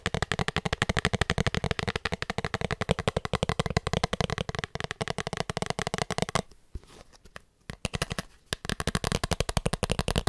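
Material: Plastic.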